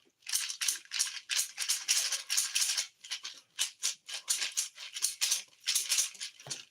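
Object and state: Dried gourd with loose dry seeds.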